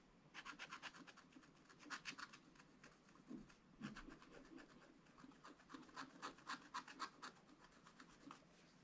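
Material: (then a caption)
Wax-coated card. A wooden stylus scratches the clownfish area of a black wax-coated scratch-art card in steady strokes. Quick, dry, bright rasping scrapes come in uneven bursts of about four per second, centred around 1 kHz with little low end. Each stroke stops sharply with no ring.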